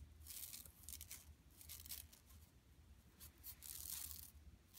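Long nails scratch across an empty, flat yellow woven plastic mesh tote bag lying on carpet. Quiet, bright, hissy scratching comes in short bursts and longer sweeps over a steady low hum.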